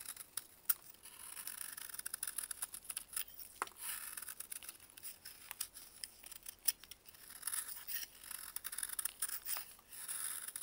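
A metal blade carves a solid, chalky block of dried baking soda held in a gloved hand, and crumbs fall away. The quiet, bright scraping and crunching is broken by many sharp, crisp ticks that die away almost instantly, with nearly no low end.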